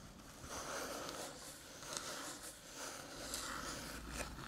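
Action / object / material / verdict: tap / small aluminium USB-C hub / aluminium / none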